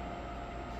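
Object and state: Nothing is struck.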